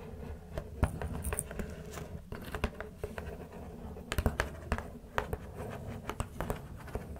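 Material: Cardboard.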